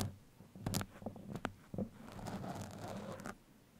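Steel pins are poked into and scratched along a black foam microphone windscreen. Soft muffled thumps and crisp, crackly scratches come in short bursts, then give way to a longer stretch of steady scraping and rustling before fading out.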